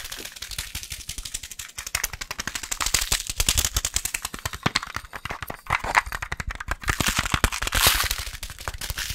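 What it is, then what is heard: Glass coffee jar. A glass coffee jar is tapped very rapidly, producing a dense stream of sharp, bright clicks and clacks with almost no ring after each hit. The tapping comes in fast, uneven bursts that swell and ease in loudness throughout.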